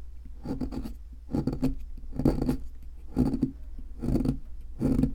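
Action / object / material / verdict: scrape / plaster excavation block scraped by a metal chisel / plaster / none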